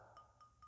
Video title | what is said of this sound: ✅Criando novas coleções com a cerâmica decorada✔️👈 | ela tá com o som de que não está quebrada ela não tá quebrada